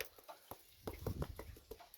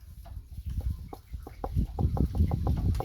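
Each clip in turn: First: gourd not yet drying, dull knock. Second: dry gourd, knocks like wood.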